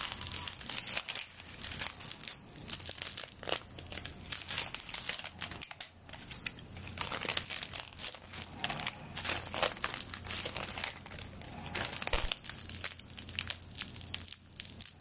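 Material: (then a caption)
Dry straw. Long dark nails scratch and rub along the bound straw-stalk handle of a hand-held straw broom, squeezing the solid bundle of dry stalks. Dense, bright crinkling and crunching crackles run continuously throughout, with a faint steady low hum underneath.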